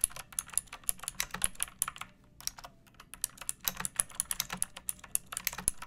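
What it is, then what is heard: Plastic mechanical keyboard being typed on. Long painted nails and fingertips type on a pink plastic mechanical keyboard with round backlit keycaps and a hollow body, resting on a wooden surface. Quick, bright, clacky keystrokes come in an uneven stream, with a brief lull partway through. Each tap is sharp and dies away almost at once, leaving a faint low thump beneath the high clicks.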